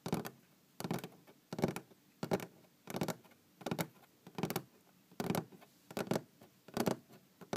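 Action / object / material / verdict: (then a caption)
tap / wooden tabletop / wood / none. Long green-painted fingernails tap a large solid wooden tabletop, heard up close. Quick clusters of short, dry taps repeat at a loose, uneven pace, each with a low woody body and a bright clicky edge that dies away almost instantly.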